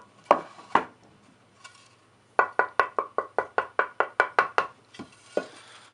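A cypress wood blank for a guitar body, a light wood similar to swamp ash and a little lighter than alder and basswood, is knocked 17 times: two sharp taps, a faint one, then a quick, even run of knocks and two final taps. The tap tone is bright, much brighter than basswood, with a good ring.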